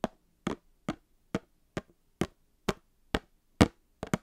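A small, sealed, hollow Star Wars trading card box made of printed cardboard, held beside the mic, is tapped with long painted fingernails. Eleven short, dry, hollow taps land at a steady pace, with the last two coming as a quick double. Each tap dies away almost at once.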